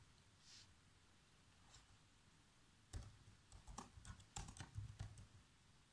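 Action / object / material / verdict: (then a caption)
tap / plastic laptop keyboard / plastic / none. Bare fingertips with short nails type continuously on the keys of a black plastic laptop keyboard. After about three seconds of quiet hiss with faint soft sounds, about ten short, dry, irregular taps follow, with thuddy low bodies and bright clicks that fade almost instantly.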